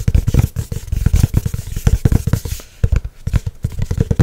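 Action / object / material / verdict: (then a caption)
tap / laminated board notebook cover / laminated board / none. Long nails tap rapidly on the glossy laminated cover of a solid-board hardcover spiral notebook. The taps are short, dry, low thuds with little ring, and a brief lull comes near the middle before the tapping picks up again.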